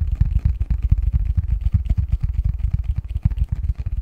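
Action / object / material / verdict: tap / cardboard box lid / cardboard / none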